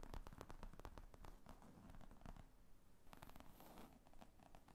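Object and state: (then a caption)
Leather laptop bag. Long fingernails tap and scratch the top of a large black leather laptop briefcase with zippers, lying flat on a table. The result is a quiet, continuous run of soft, dull taps mixed with dry scratching and rustling. Each tap dies away almost instantly.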